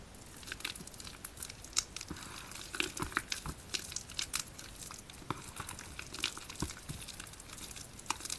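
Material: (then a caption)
Soap. A large heap of soaked, crumbly white bar soap sits in a green plastic basin, and bare soapy hands squeeze, crush and rub its solid wet chunks. The result is a steady run of quick, bright crackles and soft, wet crunching and squishing. The clusters of sharp peaks overlap too closely to count.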